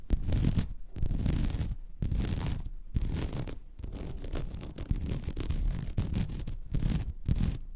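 Long red nails scratch across the weave of a flat white woven vinyl mesh placemat. Each stroke makes a rough, raspy scratching with a bright hiss and a low rumbling texture, coming in bursts separated by brief pauses.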